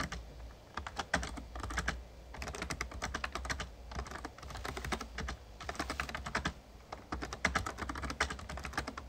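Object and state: Plastic membrane keyboard being typed on.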